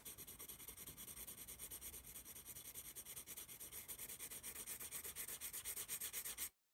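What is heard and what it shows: A yellow pencil draws lines across the page of a small paper notepad held in one palm, its graphite scratching steadily on the paper. The bright, hissy strokes come in a quick, uneven rhythm of about two per second, then cut to a brief silence just before the end.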